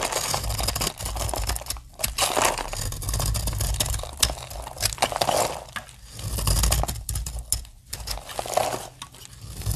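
A snap-off utility knife blade cuts and shaves flakes from the edge of a solid, palm-sized green dry soap bar with embossed lettering, held in the hand. Dry scraping and crunching strokes come in close, uneven bursts with sharp, crisp clicks over a low rumble.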